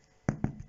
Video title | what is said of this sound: Faire du Pain Facilement. | Et s'il fait ce bruit-là, il sonne creux. Il y a quelqu'un? Voilà. Ça veut dire que votre pain est cuit comme il faut.